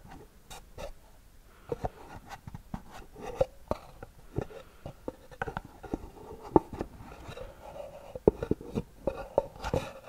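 A small, hollow white cardboard gift box with a gold band, held close to the mic, is scratched with long nails. Irregular dry scratches and short taps sound over about ten seconds, with little ring and a hollow midrange tone.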